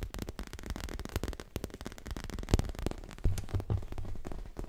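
A dark grey leather pillow, soft and stuffed, is tapped and scratched with fingertips and nails in a fast, irregular run of dull, low thuds mixed with short scratchy rustles. The taps land closely together without ringing, and one heavier thump stands out near the middle.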